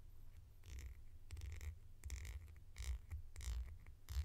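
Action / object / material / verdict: tap / small plastic flip-top lid / plastic / none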